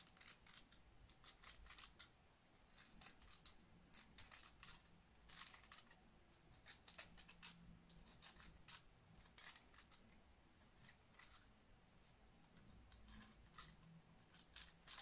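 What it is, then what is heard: Dry pine cone. Long acrylic nails scratch and flick the open scales of a dry, hand-sized natural woody pine cone, solid and held in the hands. The result is a quiet, rapid run of dry, bright clicks and scratchy ticks that stop short with almost no ring, over a faint low hum.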